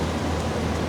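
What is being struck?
Nothing is struck.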